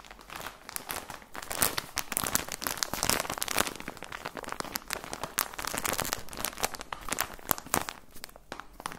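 Fingertips crinkle and squeeze a plastic package of socks with a cardboard header. The result is a dense, continuous run of sharp, dry crackles and rustles with bright high-end snaps and no ringing tail.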